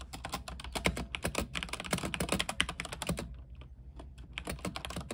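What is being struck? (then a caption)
Mechanical keyboard with plastic keycaps on a metal frame. Fast fingertip typing with both hands on an RGB mechanical keyboard with white plastic keycaps on an aluminium frame. It produces a dense run of crisp, short clacks, each with a bright high click over a low thock, briefly easing off around the middle before picking back up.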